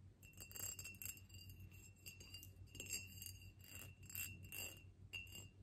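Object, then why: Ribbed clear glass vase. Long nails tap a tall, ribbed, clear glass vase held in the hands, making a quick run of bright, delicate clinks. Each clink rings briefly with a steady glassy tone and high shimmer over a faint low hum.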